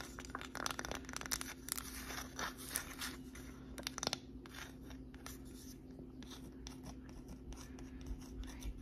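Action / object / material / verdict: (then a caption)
scrape / small flat wooden plaque / wood / none. Long nails scratch and tap the surface of a small, flat, solid wooden "Grateful" sign with white painted lettering, held close. Quick dry scrapes and light ticks come in dense bursts, louder in the first half, over a faint steady low hum.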